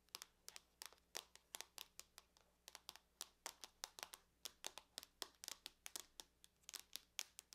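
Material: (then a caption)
Aluminum. Long nails tap quickly on the lid of a closed silver aluminum laptop, making about 37 sharp, bright clicks in an uneven, rapid rhythm over a faint low hum. Each tap is crisp and dies away almost at once, with nearly all the energy in the high range and almost no low thump.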